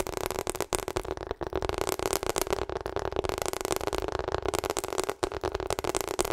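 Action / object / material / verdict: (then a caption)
tap / rubber hot water bottle / rubber / none. Long acrylic nails tap quickly on a hollow pink/purple rubber hot water bottle held up close. The result is a dense run of soft, dull clicks over a steady mid-range tone near 360 Hz, with only a few brief pauses.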